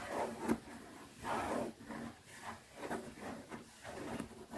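A small, closed black pebbled-leather zippered pouch rests on fingertips while long nails scratch and tap slowly across its top surface. Soft, rasping scratches and muffled taps rise and fade in gentle waves with a low, quiet texture.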